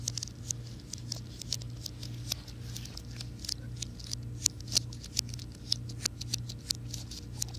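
Fingertips and nails tap the keys of a slim white plastic and aluminum wireless keyboard, held tilted and then flat. Soft, bright, dry clicks patter irregularly over a low, steady hum, each tap dying away almost instantly.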